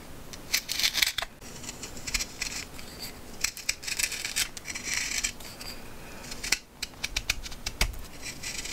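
A steel knife shaves the flat face of a partly debarked, solid, fresh green wooden branch while carving a honey spoon. Quick, crisp scraping strokes come in bursts, bright and hissy with little low end. Each stroke cuts off sharply, with short pauses between passes.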